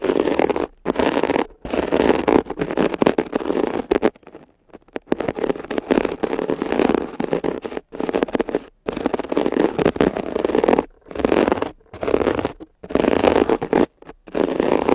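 A metal ear pick tip scratches and pokes a blue foam scrub sponge with a woven mesh surface. It makes dense, crackly scraping bursts centered in the midrange, broken by brief silent gaps.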